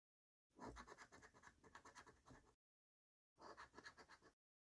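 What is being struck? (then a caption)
Paper scratchcard with latex coating. A coin scratches the latex coating off the symbol panels of a thin paper Black Pearl scratchcard resting on a dark wooden table. Quick, rhythmic rasping strokes come in two bursts, a longer run of about two seconds, then a brief silence and a shorter run of about one second.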